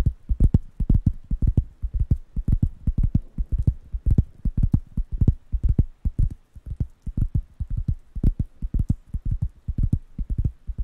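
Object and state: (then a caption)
Wooden coaster pad. Fingertips tap rapidly and unevenly across the surface of a large, thin, round, light-brown wooden coaster pad. The pad is solid and flat and is held in one hand close to the microphones. The result is dozens of dull, deep, hollow thuds that stop almost instantly, with no ringing or high tones.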